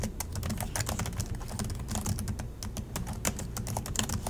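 Both hands type steadily with their fingertips on the black plastic chiclet keys of a silver Acer laptop resting on a desk. A rapid, continuous stream of short, bright plastic clicks rides over a dull, low thudding body, with each keystroke dying away almost instantly.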